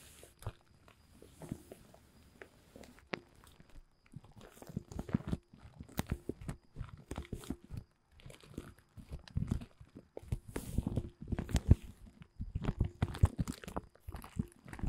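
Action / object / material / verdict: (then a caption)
scrape / woven polyethylene tarp groundsheet / plastic / none. Fingertips scratch and tap the surface of a thin, large, dark blue woven polyethylene tent groundsheet. The result is a long run of quiet, dull crinkling and soft tapping, mostly low in tone, with irregular clusters of short, dry ticks that pause briefly before starting again.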